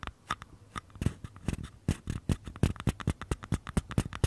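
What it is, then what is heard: Small empty paper cups. Fingernails scratch and tap the paper side walls of two identical small, empty paper cups held sideways near the mic. A quick, uneven run of short, dry taps with a low, hollow thump gives way to brief papery scratches and rustles in between. Each hit dies away almost at once with no ring.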